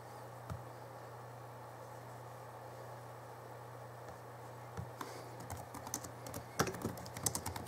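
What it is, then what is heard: Plastic laptop keyboard. Fingertips type slowly on the backlit plastic keys of a small Alienware M11x2 (2011) laptop keyboard. A few isolated clicks come first, then denser, bright, short clacks from about the five-second mark, all over a steady low hum.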